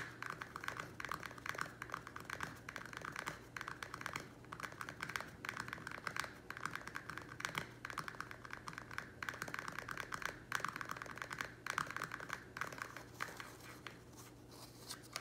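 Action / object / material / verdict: tap / thin-walled plastic nursery pot / plastic / none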